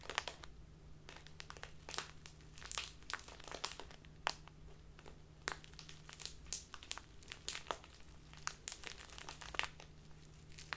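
A small plastic bag filled with tea is held in both hands and squeezed and rubbed with fingers and long nails, making dense, bright crinkling with many sharp crackles. A low steady hum sits beneath it.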